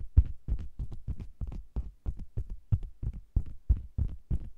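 Long green nails tap and scratch the lower edge and sides of a round, red faux leather cosmetics bag that is hollow with the microphone inside. The result is a rapid, somewhat uneven run of deep, muffled thumps with short scratchy bursts and almost no ring.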